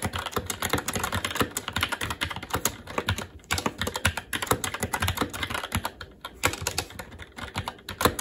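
Fingertips of both hands type continuously on a SteelSeries Apex 7 TKL mechanical keyboard with Red switches, black plastic keycaps on a metal plate, and a hollow case with RGB backlight, resting on a desk. A rapid, steady stream of short, crisp key clacks with a hollow low thud under a bright plastic click continues throughout, each keystroke dying away almost instantly.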